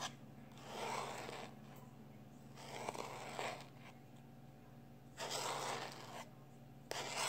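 A small black plastic external hard drive is held in one hand while the fingertips and short nails of the other hand scratch and scrape its surface and edges. Soft, raspy rubbing comes in several broad bursts with quiet gaps and a sharp tick near the end, all over a faint steady low hum.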